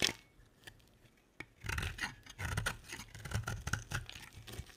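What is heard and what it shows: A box-cutter blade shaves and carves a solid, dry, oval pink bar of soap with embossed lettering, held in the hand. A sharp click and a few faint ticks are followed by a quieter pause, then repeated bursts of crisp, bright scraping with a soft low rumble underneath.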